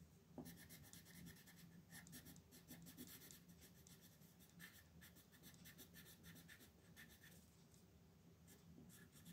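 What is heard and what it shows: A wooden colored pencil rubs across a thin white paper coloring sheet lying flat on a wooden desk, held by a hand with red nails, in steady coloring strokes. Soft, scratchy strokes repeat back and forth, each a brief bright rasp over a quiet, low background.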